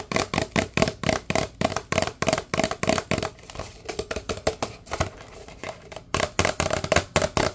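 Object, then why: Paper drink cup. A large, empty, hollow paper drink cup is held upright and tapped rapidly with the fingertips of both hands, giving about 32 quick, short hollow taps with a tone near 645 Hz and a bright papery edge. The taps soften through the middle of the run and return louder at the end.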